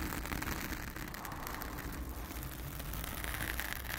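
Long acrylic nails of both hands scratch a blue foam cover on a round studio microphone. The result is a steady, dense scratchy rustle with a deep low rumble underneath and a bright hiss above. It holds fairly even throughout without clearly separate strokes.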